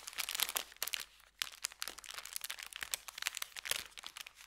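An empty brown kraft paper bakery bag, layered and folded and resting on felt, is pinched, lifted and crinkled with the fingertips. It makes dense, bright crackling crinkles with almost no low end. A brief quiet gap falls just after the first second before the crinkling resumes.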